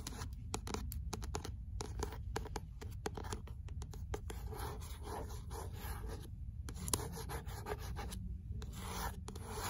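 Long fingernails scratch the rough page edges of an "L'imaginaire" paperback book and tap its card cover. Steady dry scratching and rubbing is broken by quick, crisp taps with bright clicky edges, over a low, dull body. The taps stop almost instantly with no ring.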